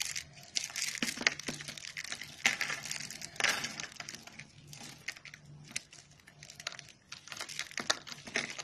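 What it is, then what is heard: Dry soap curls crumbling. A bare hand squeezes and crumbles brittle pink dry soap, rolled into thin rose-shaped curls and flakes, on a white surface, and the flakes break apart. Dense, bright crackling and crunching comes in bursts throughout, with very little low end. Each crunch stops almost at once with no ring.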